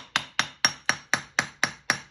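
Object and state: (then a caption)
Anvil damped by magnet, dead sound. A hammer strikes a steel JHM anvil nine times in a steady rhythm, with a 150-pound magnet stuck under the anvil's heel. Each hit is a sharp, bright clank with a faint high tone that dies away almost at once instead of ringing. The magnet has damped the anvil's ring, leaving it sounding dead.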